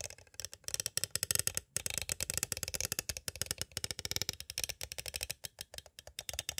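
A small, hollow, clear hard plastic cassette tape case with a paper insert is tapped rapidly with two thin green-handled tools. The result is a fast, uneven run of short, dry, bright clicks and rattling taps with almost no ring after each hit.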